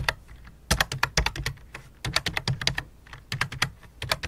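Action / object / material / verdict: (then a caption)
tap / plastic computer keyboard / plastic / none. Both hands type rapidly with fingertips and long dark nails on a full-size white and light-blue plastic computer keyboard resting on black cloth. Quick bursts of sharp, bright plastic clicks come in uneven clusters, each tap dying away almost at once with a soft low thump beneath.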